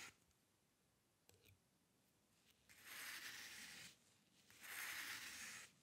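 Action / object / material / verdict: scrape / steel dip pen nib on drawing paper / paper / none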